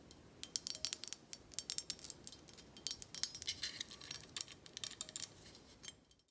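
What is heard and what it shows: Long nails tap rapidly on the black stopper and the faceted sides of a full amber glass tequila bottle held in hand. The result is a quick, irregular stream of dry, bright clicks with almost no low end and virtually no ring, fading out at the end.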